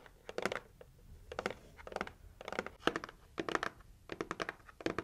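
Long acrylic nails tap rapidly on the lid of a pink heart-shaped cardboard gift box. Quick bursts of dry, hollow taps with a mid-range body and bright clicky edges, separated by short quiet gaps. Each tap dies away almost instantly.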